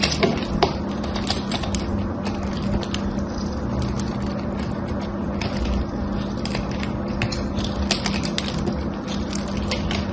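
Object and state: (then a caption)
Bar soap being shaved. A knife blade shaves a solid, dry, cream-colored bar soap with a gold coating and gold rim, thinning it down to a sliver held between the fingers. The result is a steady, dense crunching and scraping texture punctuated by sharp, bright crackles, over a constant low hum.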